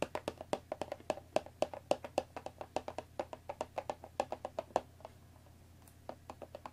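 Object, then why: Cardboard tea box wrapped in plastic film. Long nails tap and scratch the top and front of a hollow Earl Grey cardboard tea box wrapped in cellophane, resting on a wooden table. Around forty quick, dry, irregular taps ring with a hollow mid-pitched tone and die away almost at once. A brief quiet stretch follows, then a few softer taps.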